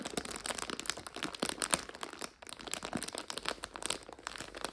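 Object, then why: Plastic bag of dried egg noodles. Long nails and fingertips scratch and squeeze a medium clear plastic bag held upright and full of dried egg noodles. The result is a dense stream of bright, crisp crinkles and crunches with almost no low end, broken by a brief quiet pause midway.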